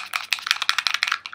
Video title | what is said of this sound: Haul : mes achats de mai/juin 2013 ! | ça fait du bruit quand on le secoue